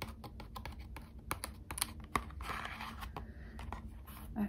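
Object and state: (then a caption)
Thin cardboard box tapped with nails. A small, closed, hollow Squishmallows trading card box made of thin printed cardboard is tapped quickly with long acrylic nails, then turned onto its side. Quick, light, clicky taps ring briefly over a low background hum.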